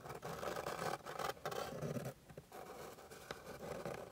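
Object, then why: Flat wooden board. Long pink acrylic nails scratch across a flat, light wooden board with fine grain while the fingertips press down on the solid surface. The result is a steady, dry rasping scrape centered in the mids, broken by a few brief pauses and growing slightly quieter in the second half.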